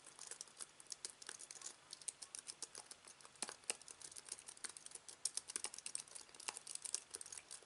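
Fingertips type on a slim aluminium keyboard with white plastic keys resting on fabric. The result is a quiet, uneven stream of quick, bright clicks and taps that stop almost instantly, with no low-end thump.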